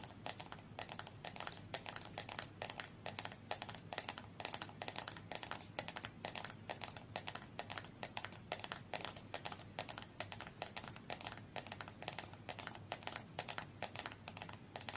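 Long nails tap rapidly and steadily on the top face of a small red cardboard UNO card box lying on its side on a fur rug. The dense stream of quiet, dry, bright clicks runs without pause throughout, each tap short with almost no ring, over a faint low background hum.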